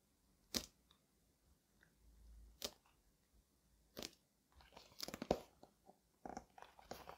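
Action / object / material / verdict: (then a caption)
tap / cardboard shipping box / cardboard / none. A cardboard shipping box for a doll suit is tapped in a slow, quiet series of short, dry knocks with a bright edge that die away almost instantly. The taps come further apart at first and bunch closer together toward the end, with faint soft clicks in between.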